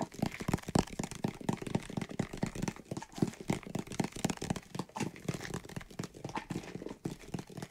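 Fingernails rapidly tap and scratch a white plastic bottle with a green label filled with soapy water, and the bottle is also shaken. The result is a dense, uneven stream of short, dry clicks and crinkly scratches over a low, hollow thump and a faint slosh of liquid inside.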